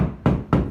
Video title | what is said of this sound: 7-8-2020 Problèmes avec propriétaire de logement insalubre depuis 3 ans | si je tape au plafond ça sonne creux dans toutes les pièces parce qu'en fait il ya pas de plancher